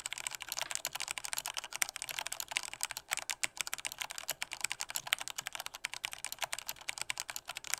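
A full-size black plastic Corsair K68 mechanical keyboard with Cherry red switches is typed on hard with the fingertips of both hands. The result is a fast, steady stream of sharp, bright plastic clicks and clacks that stop dead after each strike, with almost no low end.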